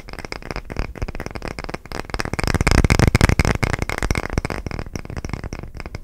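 Short fingernails rapidly tap and scratch a solid round wooden coaster with a crosshatch texture. The result is a dense stream of dry, short, low-weighted clicks and scrapes that swells louder near the middle and then eases off.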